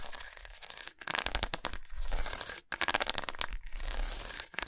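Long nails scratch across a long solid milk chocolate bar with raised squares, laid lengthwise on a towel. Fast, dense scraping and crinkly rasping with a bright, gritty edge comes in bursts, broken by brief near-silent gaps around one second and just before three seconds.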